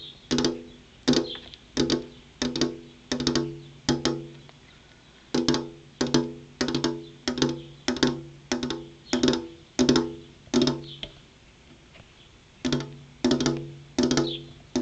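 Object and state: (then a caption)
Glass window pane. Long purple-painted fingernails tap on a large, flat, solid glass window pane. Sharp, bright clicks each leave a brief hollow ring, coming in loose rhythmic runs with short pauses between them.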